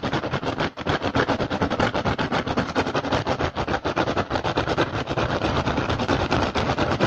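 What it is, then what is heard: Woven rattan basket. Fingertips and short nails of both hands rapidly tap and scratch an upturned, hollow, empty woven rattan basket. The result is a dense, continuous stream of dry, crackly clicks and rasps with a hollow low body, and it pauses only briefly near the start.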